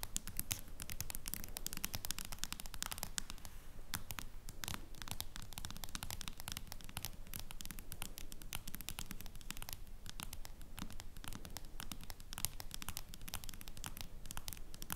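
Long nails tap and scratch on the back of a face-down smartphone in a plastic case. Rapid, irregular dry clicks and scraping run steadily throughout at a low level, with bright, sharp attacks that stop at once with no ring, over a soft low-end bed.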